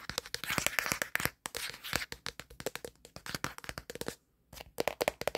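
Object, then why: Plastic smartphone back. Fingertips and nails scratch and rub quickly across the flat black plastic back of a smartphone. The result is a fast, dry run of dozens of bright, clicky taps and scratchy rubs with almost no ring, pausing briefly near the end before resuming.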